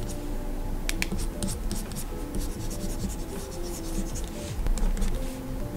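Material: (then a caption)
Glass. A plastic stylus nib held in the hand makes short scratching and rubbing line strokes across the solid glass surface of a large flat Gaomon PD2200 pen display. Soft, steady scraping runs throughout over a low hum with faint tonal lines, and brief bright ticks mark the strokes.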